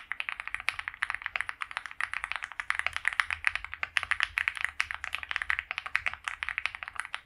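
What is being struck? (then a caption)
Mechanical keyboard with PBT plastic keycaps. A white compact Akko Mod 007 mechanical keyboard, with PBT doubleshot keycaps, a polycarbonate plate and a foam-filled case, is typed on continuously with the fingertips of both hands while resting on a felt mat. It gives a rapid, steady stream of short, crisp clacks with a bright, mid-high tone centered near 2 kHz, almost no low end, and each keystroke dies away instantly.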